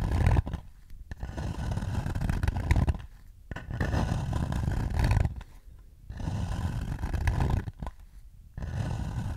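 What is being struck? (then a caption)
Shallow wooden bowl. Fingertips scratch the inside surface of a shallow, empty wooden bowl held beside the face and then turned toward the front. The result is a rough, low, rumbling scrape that comes in sustained bursts separated by quieter pauses.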